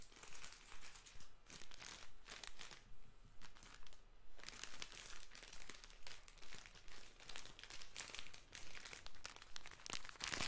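A small, soft plastic-wrapped pocket tissue packet is squeezed and crinkled between the fingers. The result is a steady, rhythmic run of bright, crackly crinkling bursts that swell and fade, with brief quieter gaps between squeezes.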